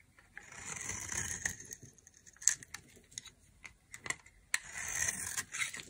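A knife scrapes a hand-held, solid olive-green dry soap bar, breaking it into brittle, crumbly chunks. Bright, dry scraping passages alternate with sharp cracks and crackling snaps as pieces break away.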